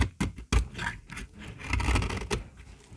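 A small, solid, dry pink bar of soap held in the palm is shaved with a metal utility-knife blade, and the flakes fall into a pile. Short, dry scraping strokes sound, each with a low body and a crisp, gritty edge, before the scraping settles into a softer, steady rasp.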